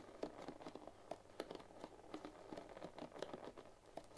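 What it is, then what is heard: Bamboo hairbrush with wooden pins. A bamboo paddle hairbrush with dense wooden bristle pins is held pins up while fingertips and long nails strum and scratch across the pins. The result is a quiet, steady run of quick, dry wooden clicks and taps over a soft scratchy rustle, each tick dying away almost at once.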